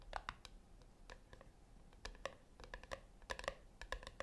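Long acrylic nails tap on the flat top of a small, round, brushed-silver metal tin resting on a white cloth. The result is a quiet, irregular run of crisp clicks, some quick and clustered, others spaced apart. Each click carries a faint metallic ring near 550 Hz with brighter overtones around 1–2 kHz, and it dies away almost instantly.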